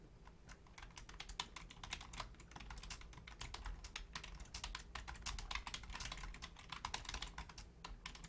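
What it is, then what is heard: Plastic computer keyboard being typed on. Long painted nails and fingertips type steadily on a full-size black plastic Logitech keyboard with low-profile keys. They produce a dense run of short, bright clacks and taps that die away almost instantly, over a constant low hum.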